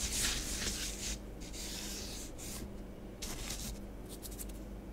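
Fingertips and long nails rub and sweep through orange bath bomb powder on a grey plastic tray, erasing letters traced in it. Soft, dry, scratchy rubbing comes in uneven bright hissy strokes over a faint low steady hum.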